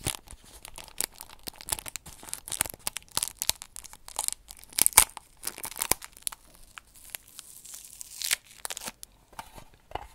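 Fingernails tap rapidly across a small, hollow, square printed blue metal tin, making a dense run of crisp, dry clicks and ticks. The taps are bright and high-pitched with very little low end, and each one stops almost instantly with no ringing, with a few louder bursts near the middle.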